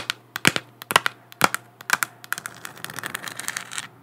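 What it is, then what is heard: Plastic moon lamp. Long black nails tap and scratch, close up, on a large, hollow, textured, spherical 3D-printed plastic moon lamp. Sharp, bright, clicky taps come at an uneven pace, then give way to a quicker run of lighter scratching ticks. A faint low hum sits underneath.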